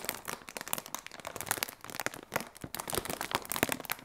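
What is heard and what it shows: A large, clear, hollow polyethylene inflatable air cushion used as packaging is crinkled and squeezed by fingertips with long red nails. Dense, bright plastic crinkles and sharp crackles follow one another rapidly, with little low end.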